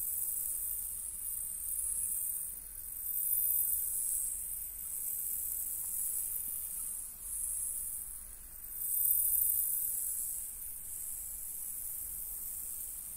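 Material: Nothing is struck.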